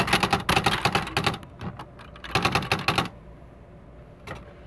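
Fingertips with short painted nails type rapidly on the plastic keys of a beige plastic CXL 4200 electric typewriter, a large hollow machine with paper loaded. Two quick bursts of sharp, dry clacks with bright, high edges and a hollow low thump come first, then a pause and one lone keystroke near the end. Each strike decays quickly against a faint steady hum.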